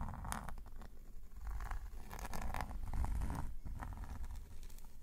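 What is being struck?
Paper sketchbook page under a metal pen nib.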